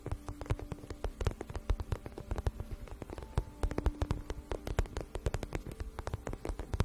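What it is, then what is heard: Vinyl pouch. A shiny, hollow, empty-looking pink vinyl pouch, held flat in both hands, is tapped and scratched quickly with long nails. The result is a steady run of rapid, short, dull taps with a low, hollow thump. Soft scratching fills the gaps beneath the taps.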